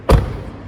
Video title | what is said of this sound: EL NUEVO TESLA MODEL 3 es un INTENTO DE HACER UN COCHE DE MÁS CALIDAD: ¿LO HAN CONSEGUIDO? | es ese clac metálico al final